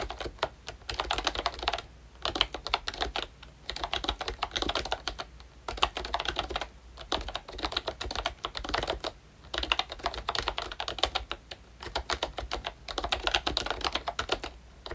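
Fingertips type steadily on a full-size ROYCHE Disney Mickey Mouse retro membrane keyboard, with a hollow plastic case and round plastic keycaps. The keystrokes come as short, crisp, bright clicks that run in dense bursts separated by brief pauses, with a faint low hum underneath.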